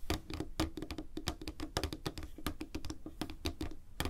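Fingertips and nails tap and click quickly on the shell of a small, hollow white plastic wireless computer mouse resting on a table. The result is a rapid, uneven patter of short, dry, hollow clicks with a low knocking tone that dies away almost instantly after each tap.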